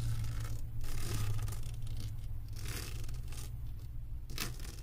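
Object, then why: Resin drills on a diamond painting canvas board. Long acrylic nails scratch across the resin drills of a flat diamond painting on a canvas board. Bursts of bright, crackly scraping come and go over a steady low hum. The scratching repeats irregularly throughout the clip.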